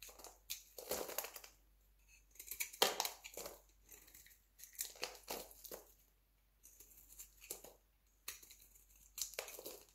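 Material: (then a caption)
Soap. A metal utility knife shaves crunchy, brittle chips off a solid, hand-sized, yellow-beige dry soap bar held in the hand. Quiet, bright, crisp crunching and scraping bursts come in short clusters separated by brief pauses.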